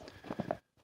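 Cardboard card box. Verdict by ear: Empty.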